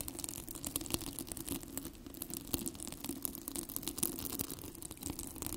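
Fingertips and nails scratch and rub two identical yellow, hollow, cylindrical hair rollers with a plastic hook-and-loop velcro surface, held close to the microphone. A dense, steady crackle of short bright scratches and clicks runs throughout over a soft low rasp, with brief louder snaps scattered along the way.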